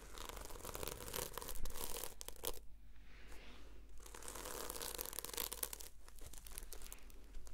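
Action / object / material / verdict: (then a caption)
scrape / notebook with a sequin cover / plastic sequins / none. Long fingernails scratch and flip the sequins on the cover of a red sequin-covered notebook. The result is a dense, continuous run of bright, crackling, rustling scrapes. A steady low hum sits beneath, and there are brief quieter dips around the third and sixth seconds.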